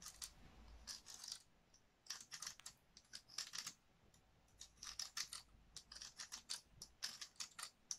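A dry, hand-sized woody pine cone is held in one hand while long nails scratch and pluck its scales. The result is bursts of many sharp, bright, dry clicks that stop instantly, separated by brief quiet pauses.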